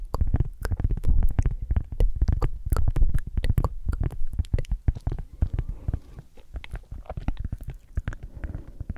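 A round, flat, solid palm-sized cork coaster is tapped and scratched with long acrylic nails. It makes a dense run of quick, soft, dull taps with a deep, muffled body and short bright clicks. The taps are steady at first, then thin into lighter, quieter tapping and scratching over the last few seconds.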